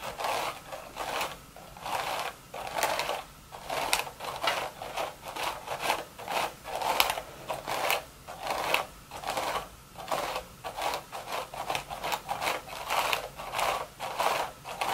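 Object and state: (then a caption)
Woven straw hat scratched. Very long, sharp red nails scratch and tap the upturned crown of a cream woven straw sun hat with a wide brim and a blue ribbon, placed upside down so the hollow crown faces up. A steady series of dry, raspy scratching strokes comes out, each a short, bright, papery burst centered in the mids around 830 Hz with little low end.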